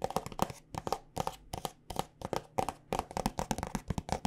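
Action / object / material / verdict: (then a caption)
tap / plastic squeeze tube filled with lotion / plastic / none. A white plastic body butter tube filled with lotion is tapped with long nails in quick, uneven clusters. Around 22 sharp, dry clicks sound with a hollow plastic tone and almost no ring, separated by brief pauses.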